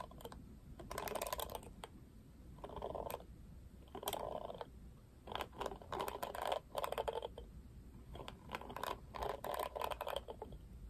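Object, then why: Plastic paddle hairbrush. Fingertips brush and strum across the black plastic bristles of a pink plastic paddle hairbrush. The result is repeated bursts of dense, crackling, clicky rustle centred in the midrange, with sharp bright ticks on top, separated by short pauses over a faint low background hum.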